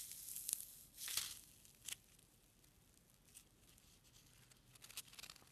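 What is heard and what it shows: A single small, white, solid foam packing peanut is squished and rubbed between the fingertips and thumb. It makes quiet, bright, high-pitched squeaks and crinkly scratches in short bursts, with a cluster of quick squeaks near the end. Faint, hissy quiet fills the gaps between bursts.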